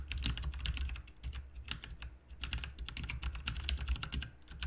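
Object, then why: Mechanical keyboard with plastic keycaps. Dense, fast two-handed fingertip typing on a full-size RGB mechanical keyboard with plastic keycaps resting on a desk mat. Rapid bright clicks and clacks overlap into a continuous patter over a steady low hum, with brief pauses near one and two seconds.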